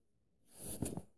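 Fingers rub and trace across the paper pages of an open paperback book, ending with a page flip. The quiet sound swells into a soft, low papery rustle with a bright high hiss and peaks in a couple of quick scuffs before fading.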